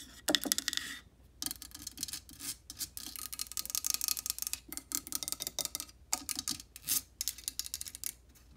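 Long painted nails scratch and rub directly on the hollow black metal mesh grille of a Blue Yeti microphone with a blue metal body. Bright, close-up rasping and scraping comes in quick irregular bursts separated by brief silences, with almost no low end.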